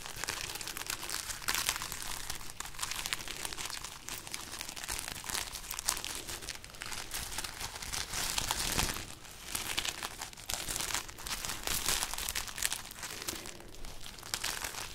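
A held-up braid of dried, hollow red chili peppers is crinkled and scratched with long nails and fingertips. The result is a steady stream of dry, papery crackling and crunching with bright, crisp texture and brief louder rustling bursts throughout.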